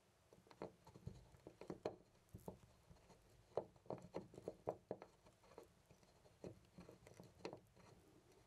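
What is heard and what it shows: A loose brass-finish metal door knob on a white panel door is held by the fingertips and jiggled back and forth close to a condenser mic. It produces a quiet, irregular series of short, dry clicks and rattles with a mid-range tone around 470 Hz and almost no ring.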